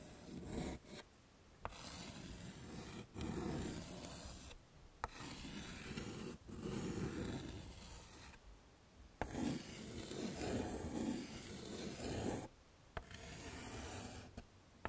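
A hand writes "hello" with yellow chalk on a flat, dark chalkboard set in a wooden frame. Rasping, scratchy strokes come in bursts separated by short silent pauses, with sharp taps where the chalk meets the board.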